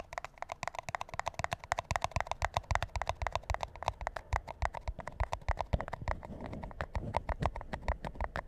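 A large, empty, hollow white paper McDonald's drink cup with a yellow logo is held upside down, bottom-up, while fingertips and nails tap and scratch its base and sides. About 57 rapid, dry, hollow taps with a low thump and a mid-range knock stop almost instantly. Toward the end, a softer, steadier scratching fills the gaps between taps.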